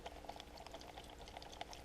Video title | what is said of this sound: Noco Genius 5 Charger and Maintainer Unoboxing Part 1 | it's got water in it. You can hear it kind of squishing around in there.